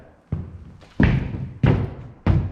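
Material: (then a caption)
Plywood. Four knocks on a plywood subfloor laid over 2x4 joists with no insulation underneath. Each gives a low, boomy thud with a short ring, and the floor sounds hollow rather than solid.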